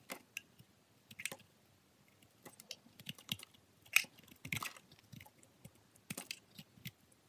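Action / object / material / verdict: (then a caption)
scrape / glycerin soap bar scraped by a steel blade / glycerin soap / none. A steel box-cutter blade scrapes and shaves thin layers off the face and corner of a solid green translucent glycerin soap bar held in hands with long pink nails. The result is a series of short, quiet, crisp scratching and crackling strokes, bright and high-pitched with almost no low end, separated by brief pauses.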